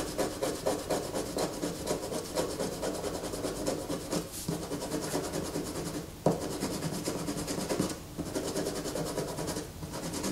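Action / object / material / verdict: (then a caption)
scrape / bar of soap / soap / none. Fingernails scrape a solid white bar of soap held in the hands, with shavings falling away. A steady, rapid rasping and scratching runs throughout, dipping briefly around the middle and near the end before resuming.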